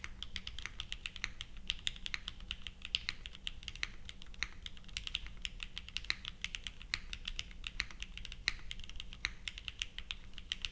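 Both hands type continuously with their fingertips on a purple 60% plateless Leviatán r0 mechanical keyboard with GatX r1, fitted with white, pink and purple ABS plastic keycaps and resting on a felt mat. A steady stream of short, bright, clacky keystrokes sounds over a faint low hum, each press dying out almost instantly.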